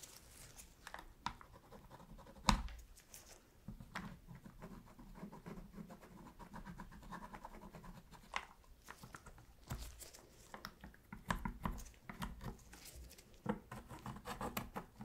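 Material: Plastic.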